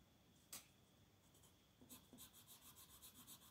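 A purple colored pencil shades a flat paper coloring book page with short strokes while the other hand holds the page. A sharp scratch is followed by quiet hiss, then a run of rhythmic, bright scratchy strokes across the paper surface.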